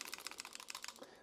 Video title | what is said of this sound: WWII Ithaca 1911 - Bay of Pigs? - Uncle Guns' Review - Historical Gun Review - Griffin Arms | sounds like a rattle can when you when you shake it everything's loose in this this thing has been whooped